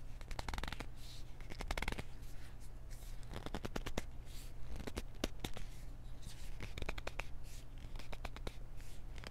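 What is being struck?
Small plastic pill bottle.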